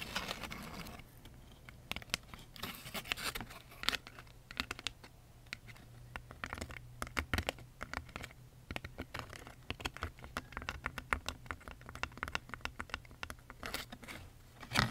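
Long acrylic nails scratch up and down the folded pleats of a large lilac pleated paper fan decoration made of thin folded paper, held in both hands. The result is a dense run of quick, bright, papery scratches and crinkles over a steady low hum, with a louder burst near the end.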